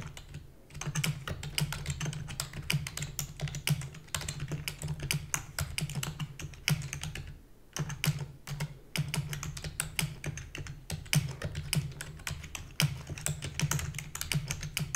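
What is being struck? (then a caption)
Plastic computer keyboard. Fingertips with long natural nails rapidly press the keys of a black, full-size plastic computer keyboard with hollow key housing, typing continuously for 15 seconds. Dense, fast, bright clacks with short decays sit over a steady low thudding body, with brief pauses near the start and around the midpoint.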